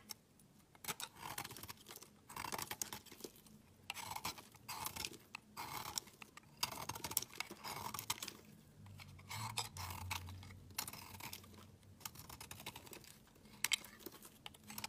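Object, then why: Soap bar scraped with a metal blade. A solid pink bar of soap held in the hand is shaved and scraped with a metal utility knife blade, peeling off curls of soap. Repeated crisp, dry scraping strokes come in short bright bursts with brief pauses between them, each ending with almost no ring. A faint low hum sits underneath.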